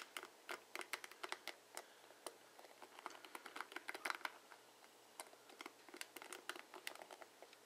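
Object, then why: Plastic hairbrush bristles. A blue plastic paddle hairbrush is held sideways while fingertips and nails run along its plastic bristle tips, flicking them. The result is a quick, irregular stream of short, dry, bright ticks and clicks that stop instantly with no ring. Some come in rapid clustered bursts over a quiet background with a faint steady low hum.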